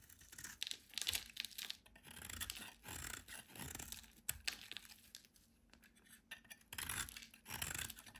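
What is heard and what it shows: A hand-sized solid white rectangular bar of soap is held in the hand and shaved and scraped with a metal utility knife blade, with flakes falling away. Bursts of bright, crisp scraping and soft tearing rasps come in uneven strokes, separated by brief quiet gaps.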